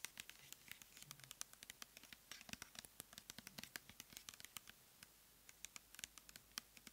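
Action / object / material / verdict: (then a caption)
tap / plastic pump bottle of gel / plastic / none. Long nails tap and scratch a medium clear plastic pump bottle full of light blue cleansing gel with a paper label. Quiet, dense, bright clicks and scratchy rustles come in quick clusters, with a sparser run of sharp taps near the end, each dying off at once.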